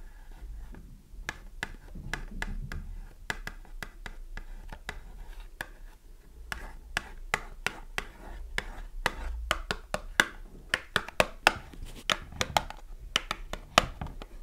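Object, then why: Small cardboard box with soap inside. Long fingernails scratch and tap the front and edges of a small green printed cardboard box filled with soap, held in the hands. Dry, crisp clicks land in quick, irregular bursts over a soft rubbing scratch. Each tap is short and bright and dies away almost instantly.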